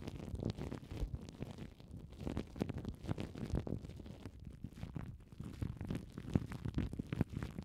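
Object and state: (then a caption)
Cling film crinkled on foam mic windshields. Crumpled clear plastic cling film wrapped over foam mic windshields is scratched and squeezed with long nails. This produces a continuous stream of soft, close crinkles and scratches that sit mostly in the low range, with sharp clicking peaks throughout.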